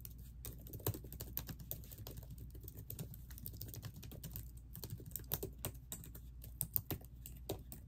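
Long painted acrylic nails and fingertips, with metal rings on the fingers, type rapidly on the plastic keys of a laptop keyboard set in a hollow silver laptop body. Quick, light clicks and taps with sharp bright edges run continuously over a low steady hum. Occasional louder strikes stand out from the even patter.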